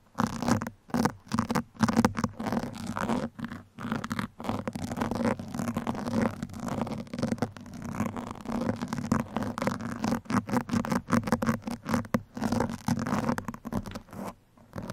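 Two metal pins scratch across the top of a black foam microphone windscreen in quick, uneven bursts separated by short pauses. The scratching sounds dull and muffled, with a steady low-mid rasp and almost no bright edge.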